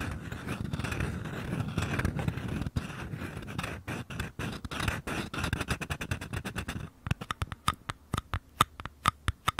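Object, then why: Small paper cup. Fingertips and short nails tap and scratch the walls of two identical small, empty, hollow paper cups held sideways. For about seven seconds a dense, papery scratching rustle runs with rapid soft ticks. It then gives way to separate crisp, dry taps that ring briefly with a hollow tone near 1.2 kHz.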